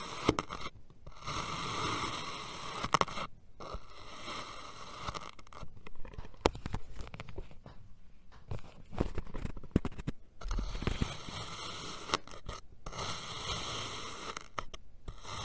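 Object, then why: Kinetic sand dome cut with a steel knife. A steel knife keeps cutting slices through a solid purple kinetic sand dome, then cuts diagonally across the slices. Soft, gritty scraping and crunching comes in repeated strokes, each with a quick low thud. Brief silent pauses separate the runs of cuts.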